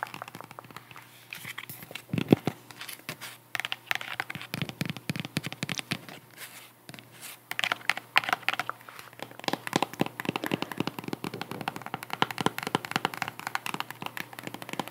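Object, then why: Cork wedge sandal. A white strappy sandal with a cork-textured wedge sole is held in the hands while long acrylic nails tap and scratch the cork wedge and straps. Dense, rapid clicks and dry scratching crackles come through close and fairly bright, with short pauses between bursts.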